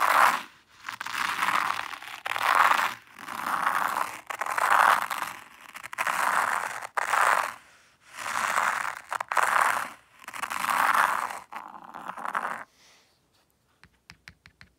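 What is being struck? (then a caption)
Fine white sand raked with a small wooden rake in a tray. A small wooden rake is pulled slowly through fine white sand in a hexagonal zen garden tray, leaving combed lines. It makes a series of soft, gritty scraping strokes, each swelling and fading with a grainy hiss centered in the midrange. The raking stops near the end, leaving a few faint light ticks.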